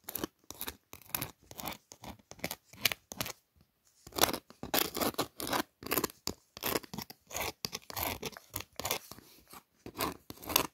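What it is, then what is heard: Paper greeting card with raised glitter glue. Long nails trace and scratch over the raised glitter-glue lettering on a pink paper birthday card. The result is a quiet series of short, dry, bright scratching bursts with a gritty, crackly texture and little low end, broken by a brief pause partway through.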